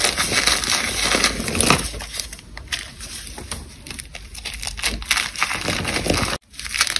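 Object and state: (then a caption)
Dried cornstarch paste being crushed. A solid, brittle chunk of dried white cornstarch paste is held in one hand while the fingers of the other hand squeeze and crush crumbles of the same material. The result is a dense run of bright, crisp crunching and crackling with many small snaps. The sound is loudest near the start, quieter through the middle, and breaks off briefly before a last burst.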